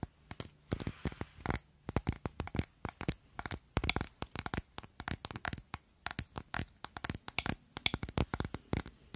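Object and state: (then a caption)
Glass perfume bottle tapped with nails. Long nails tap and scratch an amber rectangular glass perfume bottle with a black cap, held close in front of a microphone. Quick, irregular clusters of sharp clicky taps each produce a brief, bright glassy ring that dies away almost instantly, with soft scratching between them.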